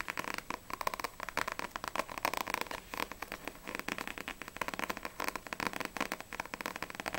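Long acrylic nails tap rapidly on a small, solid paperback manga, Blue Exorcist volume 3, with a glossy paper cover. The result is a dense run of quick, dry, crackly clicks centered in the mid-highs, each dying away almost instantly.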